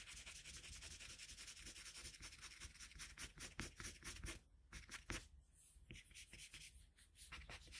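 A red colored pencil in a metal pencil extender, held in the fingertips, rubs and shades back and forth across a flat white sheet of drawing paper on a desk while coloring Kirby. The rapid, dense strokes make a steady, bright, scratchy rasp with a soft low rumble underneath. A few louder strokes stand out near the middle before the shading continues more quietly.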